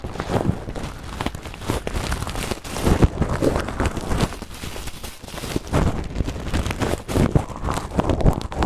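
A clear plastic bag full of small green translucent acrylic gems is squeezed and crinkled by hand close to the mic. It makes a steady, dense rustle of crinkling plastic and soft clicking gems that swells and eases throughout, with most of its weight in the low end.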